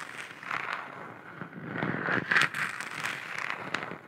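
Long nails tap and scratch the surface of a hollow, galaxy-printed plastic moon lamp sphere about 15 cm across. The result is a quick, uneven run of soft crackly clicks and scraping rustles with a bright, hollow plastic tone. Each tap fades almost at once.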